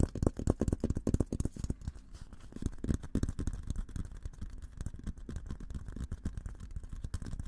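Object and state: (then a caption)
Steel military helmet. Fingertips rapidly tap the sides of a hollow, olive-green painted steel military helmet held in both hands. The taps are soft, dull and low, with no ringing after each one, coming in quick flurries that ease off and pick up again.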